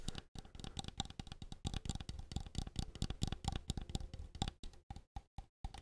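A handheld translucent green plastic game controller with a hollow shell, a visible circuit board and buttons is held close to the microphone and tapped and scratched with fingertips and nails. A rapid, dense run of short, dry plastic taps and scrapes carries a hollow low thump under bright clicky edges. The taps thin out into a few isolated clicks separated by silence at the end.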